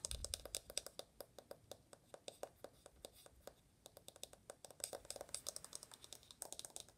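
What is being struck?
Aluminum smartphone back.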